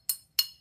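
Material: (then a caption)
Ceramic. A Hull pottery dancer figurine with a hairline crack in the back is tapped twice, giving two short, bright clicks that die away almost at once with no ringing tone. The quick, dull response points to the crack.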